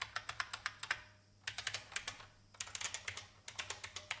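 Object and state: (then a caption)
Mechanical keyboard being typed on. Fingertips with red nails type on the keycaps of a vintage beige plastic IBM mechanical keyboard. About 25 sharp, bright clacks arrive in three quick bursts separated by brief pauses. Each keystroke is short and crisp with almost no ring.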